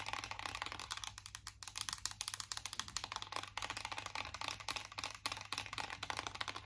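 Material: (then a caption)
Metal. Long nails tap rapidly on the raised squares of a closed, embossed metal chocolate-bar eyeshadow palette tin. The result is a fast run of short, dry, bright clicks over a faint steady low hum.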